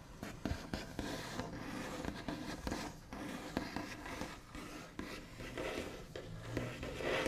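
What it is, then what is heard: Wooden tabletop, solid. Both hands do scratchy tapping with the backs of the fingernails on a large, flat, solid wooden tabletop with a smooth white finish. Soft, dry scratches and light taps run continuously, with brief sharp clicks scattered throughout and a faint, short ring.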